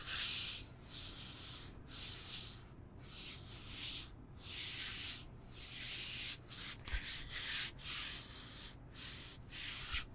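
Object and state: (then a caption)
Foam yoga block being scratched. A solid, rectangular foam yoga block, likely EVA, is held in both hands and scratched and rubbed with fingertips and nails. Repeated bright, hissy scratching strokes come in rhythmic bursts over a faint low rumble, with two short, sharp knocks near the seven-second mark and at the very end.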